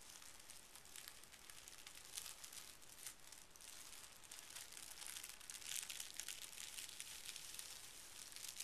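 Pink tissue paper lying on carpet is smoothed and folded over with the fingertips of both hands. The result is a quiet, continuous crinkling rub that is bright and hissy, with soft rustling swells and small crackles throughout.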